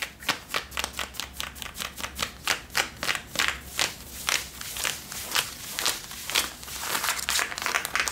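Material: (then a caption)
Denim. Long nails and fingertips scratch and rub worn Levi's blue denim jeans on the back pockets and the waistband near the leather patch. The result is a steady series of short, bright, crisp scrapes in an even rhythm, with a faint low hum underneath.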